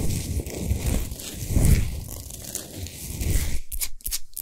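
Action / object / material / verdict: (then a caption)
scrape / rock salt sphere lamp / rock salt / none. Long nails scratch and rub fast over the top and sides of a large, solid pink Himalayan salt sphere lamp with its light off. A dense, continuous gritty scraping with a heavy low rumble swells and fades in uneven strokes, then breaks into a few short, bright scratches separated by silence at the end.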